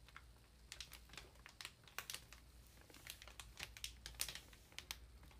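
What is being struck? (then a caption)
Paper ream wrapped in plastic film. Long nail tips tap and crinkle the plastic wrap on top of a large, solid ream of paper. Quiet, bright, crisp clicks and crackles come at an irregular pace over a steady low hum, each dying away almost at once.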